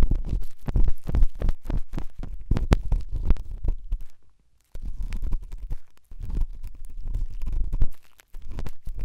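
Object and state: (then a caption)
Silicone dummy ear scratched with a pen tip. A pen tip scratches and rubs inside the ear canal of the left white silicone dummy ear on a binaural microphone. It makes a dense run of deep, muffled, rumbling scrapes and thumps, almost all low-pitched. The sound stops in brief silent pauses near the middle and near the end.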